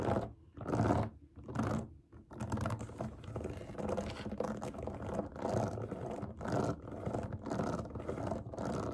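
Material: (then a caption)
Silicone. Long nails scratch and tap the bubbles of a large round rainbow silicone pop it fidget toy resting on a table. Short bursts of dry, rustling scratches at first give way to a steady stream of quick tapping and scratching.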